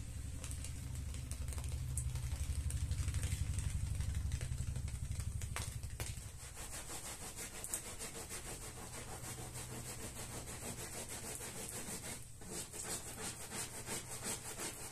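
A stiff-bristled push broom on a long metal handle scrubs back and forth across a small, soaked, soap-foamed red patterned wool pile rug lying flat on a tiled floor. The result is a fast, fairly regular wet rasping rhythm with a heavy low rumble and a thin bright hiss. It is loudest in the first six seconds, then settles into a steadier, slightly quieter scrubbing.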